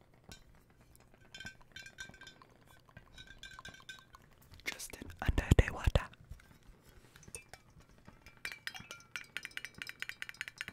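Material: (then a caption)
Glass. A hollow, clear glass bottle partly filled with water is held in both hands close to the mic while fingertips and nails tap it in quick, uneven clicks with bright ringing ticks. Midway the bottle is turned and tilted, and the water sloshes loudly inside before the light tapping resumes.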